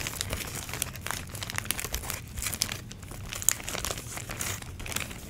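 Long nails crinkle and squeeze a clear plastic packaging bag with orange foam pumpkin cutouts inside. A steady run of bright, dense crackles and crinkles with a few sharper snaps, over a faint low rumble.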